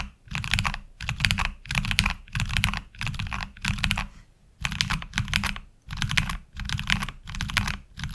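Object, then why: Mechanical keyboard with ABS plastic keycaps. Fingertips from both hands type on a HyperX Alloy Origins Core tenkeyless mechanical keyboard with black ABS plastic keycaps and tactile switches, resting on a desk mat. Rapid bursts of crisp, bright key clacks over a low, solid thock come in short runs separated by brief pauses, each keystroke dying away almost instantly.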